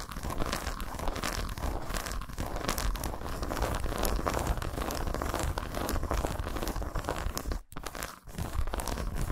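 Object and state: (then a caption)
Milk chocolate bar scratched and tapped with fingernails. Long pointed nails rapidly scratch and tap the segmented squares of a solid milk chocolate bar lying face-up on a towel. The result is a dense, continuous, crinkly scratching texture with quick dry clicks and a low, muffled body. A brief drop in sound occurs near the end before the fast scratching resumes.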